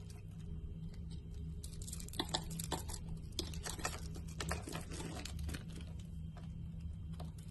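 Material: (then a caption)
Soap. A solid green and white striped bar of soap, held in a hand with dark painted nails, is scored and scraped with a utility-knife blade, sending crumbs falling off. Crisp, dry scratching clicks and short bright scrapes come in quick bursts over a steady low hum. Each cut stops dead with almost no ring.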